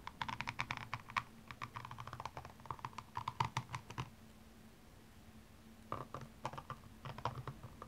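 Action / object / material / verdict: scrape / rhinestone-covered high-heel shoe / rhinestones / none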